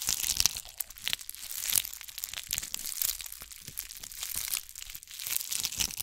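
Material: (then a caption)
Glass beads. A ball covered in bugle beads is held in front of and beside the mic and scratched with long nails. Dense, bright, crackling scratches and clicks run throughout, with almost no low end and brief swells in loudness.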